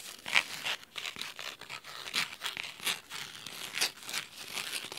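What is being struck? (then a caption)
Cloth-bound hardcover book. Fingernails scratch the spine and then the cover of a thick, navy cloth-bound hardcover book resting on a wooden table. The result is a series of crisp, bright, dry scratching bursts with very little low end and almost no ring after each stroke.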